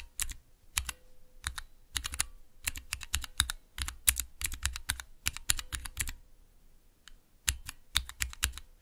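Fingertips press and tap the clear plastic keycaps of a small 3x3 switch tester with Cherry MX switches in a clear plastic base resting on dark velvet. Quick bright clicks and clacks come in uneven bursts with short pauses, each with a low thock and almost no ring.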